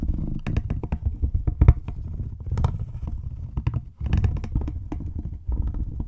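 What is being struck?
Small cardboard packaging box.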